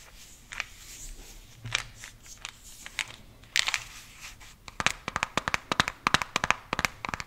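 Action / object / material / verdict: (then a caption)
tap / small plastic gum container / plastic / none. A small white translucent cylindrical plastic container with a red label and lid, holding gum pieces, is tapped, scratched and rubbed with fingers and nails. Soft, scattered scratching and rubbing give way to a quick run of sharp, bright, dry taps with almost no ring. The sound is crisp and high with very little low end.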